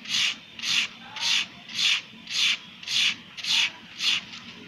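A red-handled wire-loop tool drags through a solid, crumbly sand-cement block, shaving away powdery material and leaving ridged channels. A steady, evenly spaced series of bright, gritty scraping strokes is heard, each a short hissing rasp with quiet pauses between.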